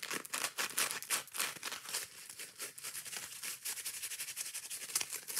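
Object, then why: Foam kitchen sponge with abrasive scouring pad. Long painted nails scratch and tap quickly on both sides of a dry, soft, porous, rectangular hand-sized dish sponge made of yellow foam with a green abrasive scouring layer. A fast, continuous run of bright, crackly, rustling scratches and tap bursts fills the clip, with almost no low end and very short decay.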